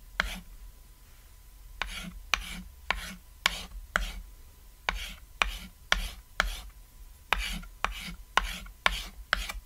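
A white chalk stick draws crosshatch strokes across a flat, solid cat-shaped painted chalkboard, making about fifteen quick scratching and tapping strokes. Each stroke starts with a sharp tap and fades into a brief bright rasp with almost no ring, separated by short quiet gaps.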